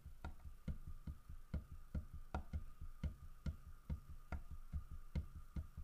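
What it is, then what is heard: Carved wooden bear statue. Fingernails tap a large, solid carved wooden bear figurine, striking both the carved fish it holds and the bear's body. The taps are short, dull, low knocks that die away almost instantly, repeating at a quick, uneven pace over a faint steady tone.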